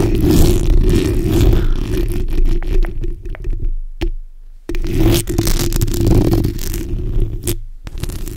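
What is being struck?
Metal mesh microphone grille.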